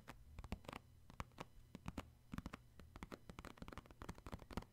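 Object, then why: Cardboard tissue box. Fingertips and short nails tap quickly and irregularly on the top of a hollow purple cardboard Puffs tissue box that holds tissues. About two dozen short, dry, hollow taps sound over a faint low steady hum.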